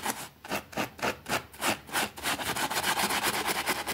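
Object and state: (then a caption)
Small fabric rug being scrubbed. A white plastic hand brush scrubs back and forth over a small, thin green fabric rug with a rabbit print, wet and soapy and lying flat on a concrete floor, while the other hand holds it down. Rhythmic, wet, bristly rasping strokes with a bright hiss start distinct and speed up into a denser, near-continuous scrubbing.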